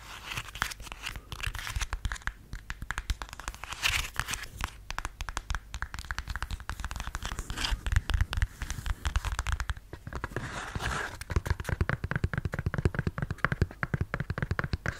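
Fingernails scratch and tap across the heel and sole of a beige faux suede stiletto sandal held close to the mic. A dense, rapid stream of short crackly scratches and taps with a heavy low rumble underneath continues throughout, with brighter rasping bursts in places.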